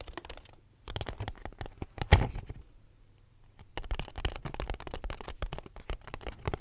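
A small, empty, hollow cardboard box held close to the mic is tapped and scratched with fingertips and nails, giving quick, dry, hollow thuds with soft scratchy rustles and almost no ring. The tapping comes in dense runs, with one sharper, louder tap near the middle and a brief quiet pause before a final busy stretch to the end.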